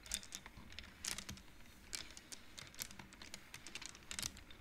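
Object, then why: Wooden abacus with wooden beads on metal rods. Fingertips and nails rapidly push colored wooden beads along the metal rods of a large wooden-framed abacus. The result is a quick, uneven run of bright, dry clacks with almost no ring, set over a faint low rumble.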